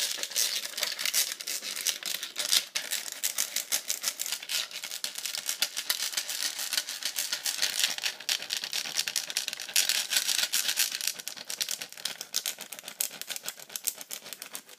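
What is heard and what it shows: A hollow pink plastic iPad cover lies flat while the long acrylic nail tips of both hands tap on it fast. The result is a dense, continuous stream of sharp, bright clicks with almost no low end, each tap dying away almost instantly.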